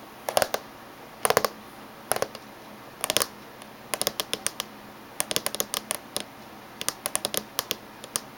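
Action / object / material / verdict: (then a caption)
tap / laptop casing / unknown / none. Fingernails tap on the top surface and edge of a closed silver laptop casing. The taps come in quick clusters and scattered single strikes, each a bright, dry click with almost no low end and no ring.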